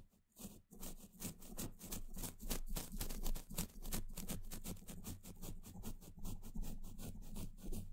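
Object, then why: Steel mesh microphone grille brushed with a small paintbrush. A small pointed paintbrush dabs and brushes across the hollow steel mesh grille of a microphone head. The result is a rapid, irregular stream of soft scratchy swishes with bright airy texture over a dense low rumble.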